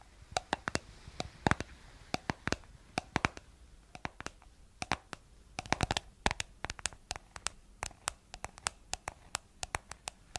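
Long acrylic nails tap and scratch the white plastic lid and blue body of a round, palm-sized, hollow plastic cosmetic jar whose contents are not visible. Many sharp, dry clicks with no ring stand out as bright, separate spikes over a faint scratchy hiss, coming in irregular bursts for about ten seconds.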